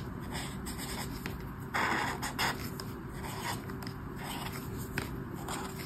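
A brush marker tip scrapes and rubs over a flat paper colouring book page in colouring strokes. Soft, scratchy strokes come and go over a steady low hum, with the loudest, brightest rubs around the two-second mark. The same page and pen are heard throughout.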